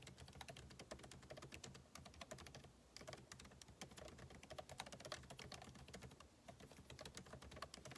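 Fingertips type rapidly on the plastic keycaps of a backlit MacBook Pro keyboard set in an aluminum body, producing a dense, steady stream of quiet, sharp clicks with bright tops and very short decay. The typing pauses briefly around the middle, then continues at the same quick pace, over a faint low hum.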